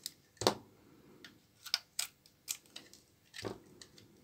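A small knife blade cuts and scrapes flakes off one edge of a large, solid bar of old, dry brown laundry soap held in the hand. About nine sharp, dry cracks and scrapes sound at an uneven pace, bright and brief, as the flakes crack off.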